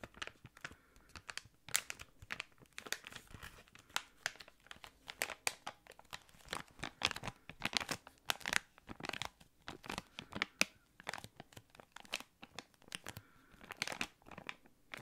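A small, thick, clear plastic packaging bag is held close to the microphone and crinkled with the fingertips. Dense, quiet, bright crackles and rustles come in quick irregular bursts, with no ringing between them. The crinkling continues steadily for about fifteen seconds.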